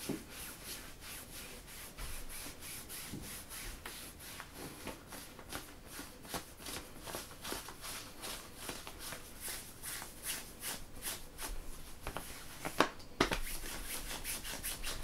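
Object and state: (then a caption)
Synthetic stretch fabric leggings. Fingertips and short nails rub and scratch printed black-and-grey synthetic stretch workout leggings worn by a standing person. The result is a steady run of soft, bright scratching strokes about two per second with a low fabric hiss beneath. Near the end, one sharper scrape stands out before a slightly louder stretch.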